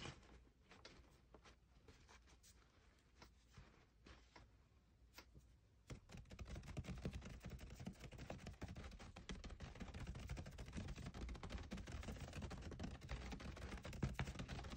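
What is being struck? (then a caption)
Pile of crushed chalk powder. A heap of crushed white chalk powder with dark glitter specks, loose on a wooden surface, is pressed and patted over and over with bare, short-nailed fingertips. For the first six seconds the taps are sparse, soft and muffled. Then the patting becomes louder, faster and denser, with a steady crunchy, low-heavy texture to the end.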